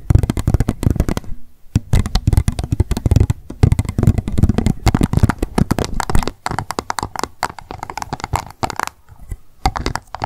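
Long acrylic nails tap rapidly on the sides and base of an empty pink plastic cup turned upside down on a towel. The result is a dense, fast stream of short, dry clicks with a low, hollow body that stops almost instantly after each tap, with a few brief pauses.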